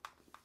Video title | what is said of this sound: The LG Wing Is Better Than You Thought! | if you really shake it, you can hear that it moves around some, but largely it stays in place